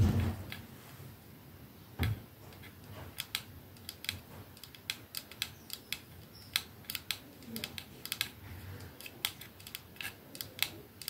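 Fingernails tap rapidly on the back of a 212 perfume bottle, a silver metal sleeve with glass domed ends, held upright in one hand. Short, bright clicks with a ring around 2.6 kHz come in irregular bursts over a quiet low rumble, with a louder thump at the start and another near two seconds.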